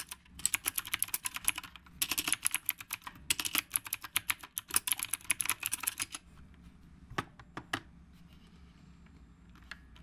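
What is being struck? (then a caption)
Mechanical keyboard with round plastic keycaps. Fingertips type on the round plastic keycaps of a retro typewriter-style mechanical keyboard. Dense bursts of sharp, bright clicks run for about six seconds with a few short pauses. A handful of isolated keystrokes follow in near silence.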